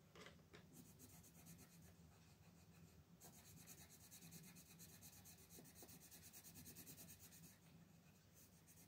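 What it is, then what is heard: Colored pencil on paper coloring page. A pink wooden colored pencil is rubbed and scratched across a flat printed paper coloring book page lying on a table, coloring a band near the top in short strokes while a hand with long nails holds the page still. The result is a steady, dry, scratchy rasp with bright hiss pulsing quickly over a low background hum.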